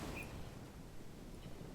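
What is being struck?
Nothing is struck.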